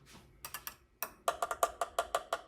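A plastic part of a Huina 1582 RC dump truck, a model with a plastic chassis, fuel tanks and wheels, is tapped 12 times. Each tap is a short, dry, hollow click with a pitch around 680 Hz and almost no ring. The taps come in an uneven rhythm that speeds up toward the end, and the part sounds plastic.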